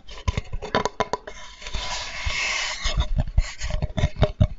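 A flat, light wooden Spätzle board with engraved lettering, solid and held upright, is tapped with fingertips, giving a string of short, dull knocks. Around the middle the taps give way to a soft, bright scraping rustle before the tapping resumes, the knocks deep-toned with almost no ring.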